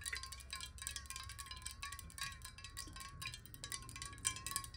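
Fingernails tap rapidly on a glass water bottle that holds water. The quick, light taps run together into a bright, ringing, chime-like tone with a steady pitch, set against a faint low rumble.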